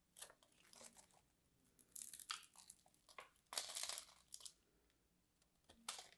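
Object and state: Soap bar scraped with knife.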